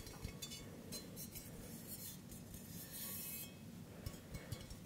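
A hollow stainless steel mug with a handle, held up close to the microphone, is tapped with fingertips and nails, giving soft, quiet clinks with short metallic ticks over a low, dull body. Mid-clip there is a brief bright, hissy rubbing stretch before a few sharper taps close it out.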